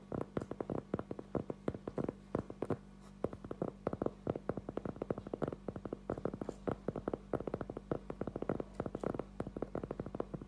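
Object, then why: Cork trivet. A thin, solid round cork trivet about 20 cm across, held in both hands, is tapped rapidly with the fingertips and short nails. It gives dozens of soft, dull, muffled knocks in uneven bursts, with no ring and nothing bright, over a faint steady low hum.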